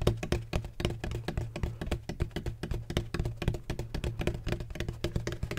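Fingertips tap rapidly on the side of a large, hollow, black donut-shaped bottle made of textured plastic with a red cap. Quick, irregular taps make soft, hollow, low thumps with a resonant tone near 117 Hz and very little brightness. Each tap dies away almost at once.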